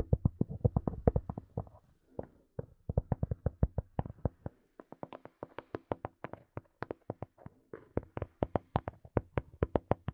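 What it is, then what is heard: Plastic earphone case tapped with nails. Long nails tap and scratch a small, hollow black plastic Sony earphone case, making rapid bursts of quick, dry clicks. The hollow taps are dull and low, with a faint bright edge and almost no ring. Short pauses break up the steady run of tapping.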